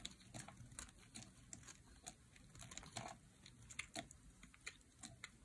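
A solid, dry light blue bar of soap is held in the hand while a metal blade carves flakes off it. The result is a quiet, rapid, uneven run of crisp, dry scraping clicks with bright edges, each dying away almost at once over a soft low rumble.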